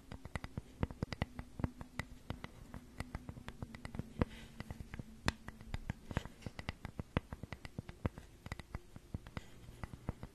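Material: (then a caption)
Wood. Long nails rapidly tap and scratch a flat, solid, hand-sized flower-shaped cutout of unfinished wood with carved grooves, held in both hands near a fluffy microphone. Dozens of short, dry, sharp taps with almost no ring sound over a soft, continuous scratching texture, all at a quiet level.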